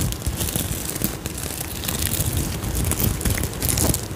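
Long nails scratch and flip the sequins on an iridescent sequin-covered fabric pouch held up to the mic. A dense, continuous crinkling crackle with a low rumble underneath and bright, scattered clicks runs steadily throughout.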